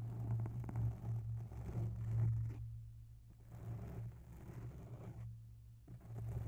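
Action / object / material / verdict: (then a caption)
scrape / foam microphone windscreen / foam / none. Long bare nails scratch the edge of a grey oval foam microphone windscreen, close up. Soft, slow scraping and rustling comes through as a low, muffled rumble with a steady hum near 117 Hz, easing off in brief quiet gaps between strokes.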